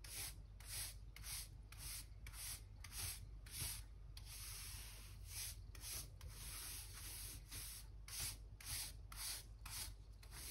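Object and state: Wooden floorboards being brushed.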